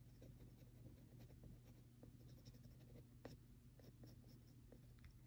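A mechanical pencil tip repeatedly taps and scratches small shading marks on a flat sheet of textured drawing paper. Soft, quick ticks and short scratchy strokes sit over a steady low hum, with one slightly sharper tap near the middle. The sound stays quiet and close throughout.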